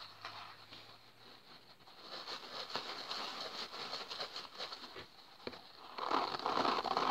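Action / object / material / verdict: scrape / polyurethane foam kitchen sponge with green scouring pad / foam / none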